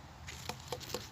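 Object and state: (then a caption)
Watermelon not yet dense. A watermelon still on the vine is flicked with a finger three times, giving short, dull taps with a low hollow tone around 500 Hz and brief bright clicks. It sounds less dense than the others, not very dense yet.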